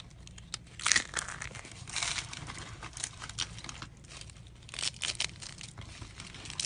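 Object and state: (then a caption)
Dried soap curls being crushed. Rolled, light-green dried soap tubes, hollow and brittle, are crushed with the knuckles and the palm. Bright, dry crunching and crinkling bursts come in a rapid, uneven series, with short snaps and almost no ring after each one.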